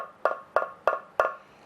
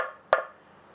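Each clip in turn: First: hollow cavity in guitar body. Second: wooden guitar body, solid section.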